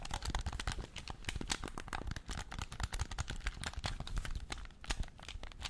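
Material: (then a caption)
Plastic. A hand-sized, hollow black plastic game controller, held in both hands in front of a microphone, is rapidly tapped and scratched with painted fingernails across its front shell and buttons. The result is a dense, continuous stream of sharp, bright clicks and scratchy, crinkly rasps with very short decay, layered over soft low thumps from the handling.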